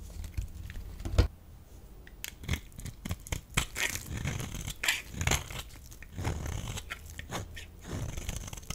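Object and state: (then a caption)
Bar of soap being carved. A solid rectangular pink bar of soap is held in the hand and scraped and carved with a metal utility blade, breaking off flakes. Many sharp, crisp scraping and crunching strokes repeat, with bright flaking crackles over a low, quiet background.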